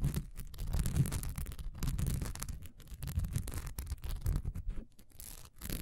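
A solid cream wax pillar candle with a honeycomb, diamond-textured surface stands upright and is scratched fast with long nails. The result is a dense, continuous rasping with a heavy low rumble, broken by brief gaps between bursts of scratching.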